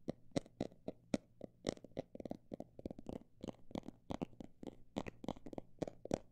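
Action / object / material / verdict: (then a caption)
tap / textured fabric or plastic cosmetic bag / fabric / none. A textured cosmetic bag is tapped with a rapid, uneven series of short, dull taps that stop almost instantly, each with a slight crinkly edge. A faint steady low hum runs underneath.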